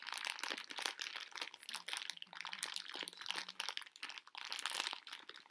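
A full plastic bag of tiny conversation heart candies is squeezed, crinkled and shaken by hand. The result is dense, bright crackling and crinkling that rises and falls in quick bursts for the whole clip, with a faint low tone underneath partway through.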